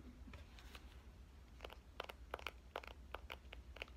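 Fingernails of both hands tap the screen and frame of a pink compact digital camera held with its screen side out. Soft, faint clicks early on give way to a quicker run of sharp, bright plastic taps, each dying away almost at once over a steady low hum.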